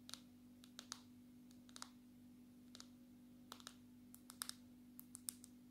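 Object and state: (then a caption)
Smartphone in plastic case tapped with fingernails. A smartphone in a dark red plastic case, held flat, is tapped on its glass surface with long natural fingernails. The result is a string of quick, bright, clicky taps, some in close pairs, each dying away almost instantly. A steady low hum sits underneath.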